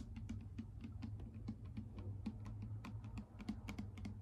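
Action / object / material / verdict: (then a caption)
tap / plastic bottle partly filled with liquid, tapped with nail tips / plastic / none. Long acrylic nail tips tap rapidly on a clear plastic micellar water bottle with a pink cap, partly full of liquid. The quick, dry clicks land in an irregular stream over a steady low hum, each dying away almost at once.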